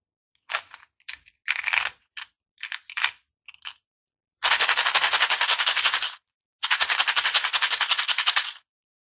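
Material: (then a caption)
Plastic. A small, hollow purple plastic Skittles tube filled with hard-shelled candies is held in both hands and turned and shaken, so the candies rattle inside while other candy tubes and loose candies lie still on artificial grass. A series of short, bright rattling bursts is followed by two long runs of rapid, steady clicking rattles, each about two seconds long.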